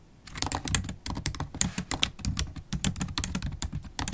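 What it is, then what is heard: Laptop keyboard with plastic keys being typed on. Long pointed holographic acrylic nails type continuously on a MacBook Pro keyboard with black plastic keycaps set in a thin, hollow silver aluminium laptop body, tapping with nail tips and fingertips. Quick, dry clicks come in a steady irregular patter, each with a bright clacky top over a soft low thud and almost no ring.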